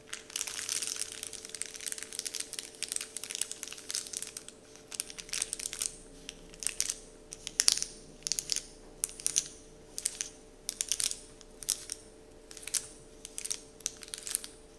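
Fingertips scratch and crinkle a large, flat, heart-shaped Dove-printed paper candy wrapper sheet. Bright, papery crackles come in a dense rustle at first, then in separate short bursts that stop cleanly between touches. A faint steady low hum runs underneath.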